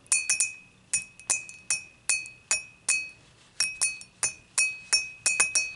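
Long nails tap the body and handle of an empty dimpled glass beer mug, first standing upright and then laid on its side. About twenty bright, sharp clinks come at an uneven pace, each carrying a clear glassy ring near 2.6 kHz that fades quickly.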